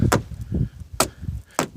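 A handheld rock is struck four times against a crumbly rock face, possibly sandstone, from which pieces break off easily. Each blow gives a short, dull, low-pitched knock that dies away almost at once, and a few carry a brief sharper crack. The face sounds hollow.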